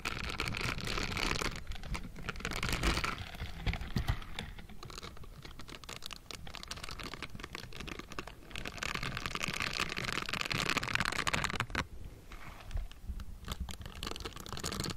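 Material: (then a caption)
Metal mesh. Pink silicone gloves with bristled fingertips tap and scratch the hollow metal mesh grille of a Blue Yeti microphone. The result is a dense, irregular patter of soft taps and scratchy brushing with a low rumble and bright, hissy grit. Louder scratchy stretches alternate with quieter tapping.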